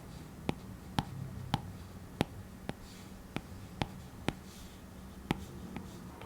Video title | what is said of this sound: Artist Review: iPad Pro 2020 | tapping on the surface of use more solid there is less of a hollow sound